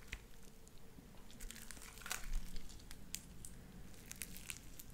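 A light-blue sticky slime with white beads is pressed between flat palms and pulled apart into strings. Soft wet crackles and popping clicks come through a low, steady rumble, with brief bright snaps scattered across the clip, loudest around the middle.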